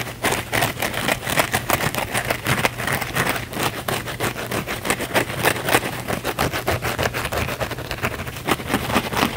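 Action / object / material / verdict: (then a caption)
scrape / kitchen sponge with scouring pad / synthetic fibre / none. Fingernails rapidly scratch the scouring-pad face of a small blue cellulose kitchen sponge held in both hands. The result is a fast, uneven stream of dry, bright scraping strokes over a faint steady low hum.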